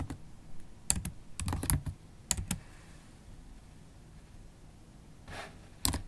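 Long holographic acrylic nail tips tap fast across the black plastic keys of a MacBook Pro keyboard. Sharp, bright clicks with a soft low thump come in quick bursts, then fall to a quiet lull broken by a faint breathy swish before a final cluster of taps.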